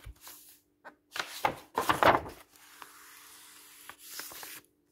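Fingertips rub and slide flat across a black-and-white printed paper page of an open paperback book lying on a wooden table. Dry, papery swishing and brushing strokes rise and fade, with a few short taps and a soft steady hiss between them.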